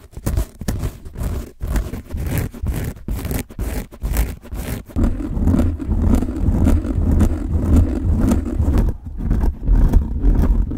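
A large pink soft foam or plastic die, hollow-feeling with a textured surface, is held in both hands close to the microphone and scratched and rubbed with fingertips and nails. The first half is a run of short, quick scratching strokes with brief gaps. It then turns into steady, continuous rubbing with a heavy low, muffled rumble beneath the scratchy texture.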